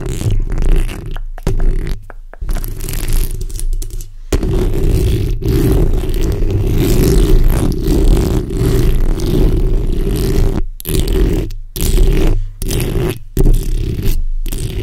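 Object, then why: Steel mesh microphone grille. The backs of long red nails scratch across the top of a black condenser microphone's hollow steel mesh grille. The result is a dense, low, rumbling scrape with fast gritty texture, broken by several brief silent gaps.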